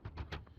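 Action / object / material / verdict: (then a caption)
tap / picture frame cover pane / glass / glass. Four light taps on the cover of a large framed picture found in a dumpster, each a dull, short knock heavy in low tones with a brief ring above. The cover is judged by its sound to be glass rather than plastic.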